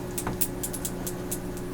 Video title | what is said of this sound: Blood, Wine, and Sunshine x IPSY Sep 2020 | You can hear something rattling inside, which means it's got something that helps mix it.